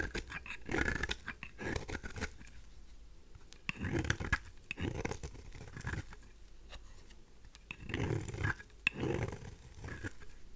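A craft knife blade scrapes across a pink, rounded, dry rose soap bar held in the hand. It makes bursts of dry, crumbly rasping with soft low thumps and bright ticks. There is a quieter pause partway through when the blade is briefly lifted away.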